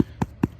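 Two gentle, dull taps on synthetic turf over a golf cup buried under the turf on its sub-base give a low, hollow thud centred around 270 Hz. The taps die away almost at once, with no ring. The hollow sound marks where the cup sits.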